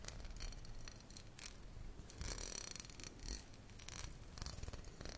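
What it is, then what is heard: Glass bottle of tomato passata. Fingernails tap and scratch the glass bottom and paper label of a tall glass bottle full of tomato passata, held sideways. Quick, soft clicking taps mix with brief bright scraping bursts over a steady low rumble, each tap dying away almost at once.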